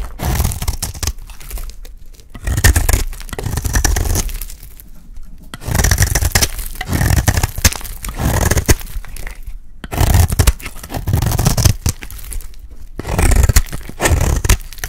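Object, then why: Bar of soap cut with a metal blade. A solid rectangular light blue bar of dry soap is held in the hand and shaved with a metal utility blade. Rough scraping and cutting strokes come in bursts with brief quiet gaps, carrying a crisp, crunchy texture over a heavy low-end body.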